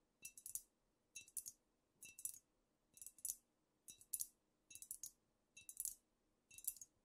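Long nails tap with both hands on a squat amber glass cognac bottle with a paper label, apparently filled. Eight quick bursts of rapid clicking taps come at a steady pace, each bright and high with almost no ring. They sound quiet and crisp against near silence.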